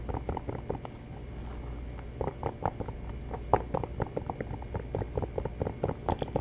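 Fingertips and nails tap and scratch fast on the textured rubber tread of a black shoe's sole held up close. Rapid, dry, short taps with a muffled midrange knock mix with scratchy rubbing over a steady low hum, some taps sharper and louder than others.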